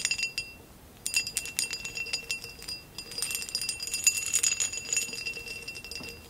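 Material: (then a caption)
Glass. Long acrylic nails tap a tall, hollow, empty amber glass vase with a basket-weave texture, standing upright. Quick, bright, high-pitched clinks come in clustered bursts, with a short pause near the first second. Each tap leaves a brief, thin glassy ring with almost no low end.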